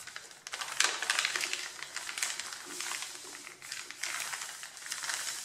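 Flat hands press and slide over the top sheet of a stack of white printer paper with drawings, rubbing and crushing it until it creases. The result is a dense, bright, crinkling rustle that swells and eases in uneven bursts, with almost no low end.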